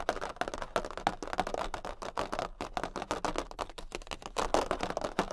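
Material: Cardboard.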